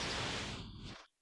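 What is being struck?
Nothing is struck.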